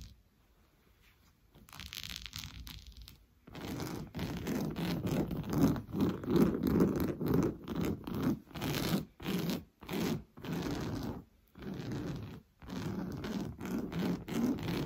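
Fingernails scratch fast and hard across the coarse weave of an orange fabric sofa cushion. After a brief quiet start and a softer, brighter rasp, a run of rough, rhythmic scratching strokes follows, with a full, low-mid scraping texture separated by short pauses.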